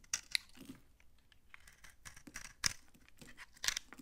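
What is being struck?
Soap bar scraped with a knife blade.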